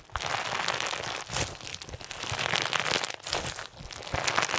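A hand-sized mass of soft pink clear glue slime packed with small round iridescent plastic sequins is squeezed, folded and stretched with bare fingertips. It gives a dense, continuous crunchy crinkling with bright, crackly highs and little low end, swelling and easing as the slime is worked.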